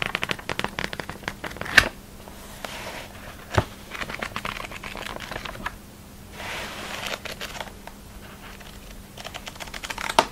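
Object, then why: Thick glossy paper catalogue. Fingertips and a thumb flick and riffle through the stacked page edges of a thick glossy paper catalogue held half-closed over a polka-dot tablecloth, making rapid, crisp paper-flutter ticks with softer swishing passages between them. A few sharper, louder flicks stand out against the dry, bright rustling, with a faint steady low hum underneath.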